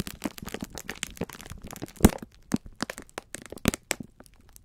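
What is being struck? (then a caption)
Pack of sponge scourers in plastic film. Both hands squeeze and rub the clear plastic film wrapper of a full pack of sponge scourers. The result is a dense run of quick, dry crackles and crinkles, with sharper, louder cracks near the two-second mark and again shortly before four seconds.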